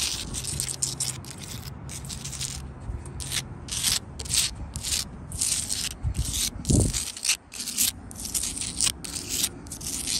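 Long blue acrylic nails scratch across the faces and crevices of a rough, solid sandstone block wall. Irregular, bright, gritty scraping strokes repeat at roughly two per second over a low rumbling undertone, with one deeper, louder scrape near the middle.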